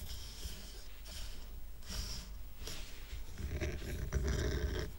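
Fingernails scratch and tap the rough, raw wooden underside of a stack of square wooden coasters tied with twine. The result is a steady low rumble broken by bursts of dry, bright scratching, which grow busier and louder toward the end.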